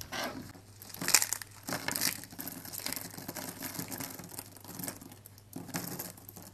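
Fingers with long pink nails pinch, crush and rub handfuls of brittle, thin teal-blue dry soap sheets and small shards. The result is a continuous bright, crisp crinkling and crunching, with sharper crackling bursts rising out of a steady rustle.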